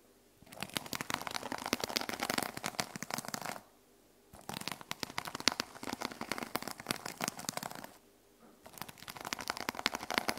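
Long nails scratch back and forth across the teal plastic sequin cover of a small notebook resting on a wooden table. Three bursts of dense, bright clicking and rasping crackle are separated by short pauses.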